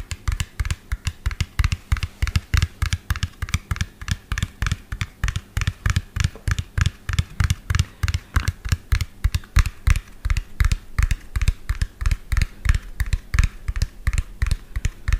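Fingernails tap rapidly on the cab of a medium lime-green hollow plastic toy dump truck with an empty tipper bed. The result is a fast, uneven stream of short, dry clicks, each with a hollow low thump and a faint bright tick that dies away almost at once.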